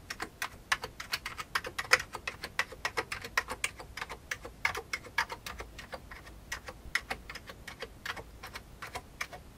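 Fingertips type steadily on an old beige full-size plastic computer keyboard with hollow keycaps, producing about forty short, bright, clicky key taps at an uneven pace. Each tap dies away almost instantly with very little low end, and the taps grow softer for a stretch partway through before picking up again.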